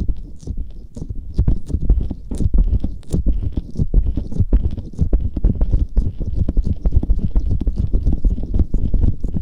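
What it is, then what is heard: Gel-covered silicone ear covers being rubbed. A pair of soft, hollow, flesh-coloured silicone ear covers on a Tascam binaural microphone, wet with aloe gel, is rubbed, pressed and squished by fingertips with medium nails. The result is a dense, continuous stream of deep, low wet squelches and muffled thumps with brief bright clicks.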